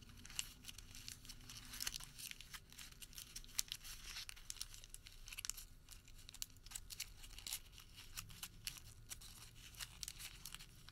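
A small crumpled white thermal paper receipt is rolled and crinkled between fingertips. Quiet, dense, bright crackles and crisp tearing-like rustles come in quick, short bursts, over a faint low rumble.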